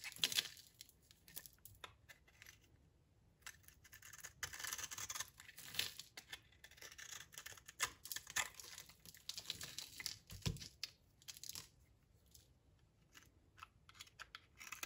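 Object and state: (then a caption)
Dry soap bar. A utility knife blade cuts and shaves flakes off a solid, dry purple soap bar held in the hand. The result is quiet, bright, crisp scraping and crackling, with short dry snaps and brief rough bursts. The bursts come in uneven runs separated by short pauses.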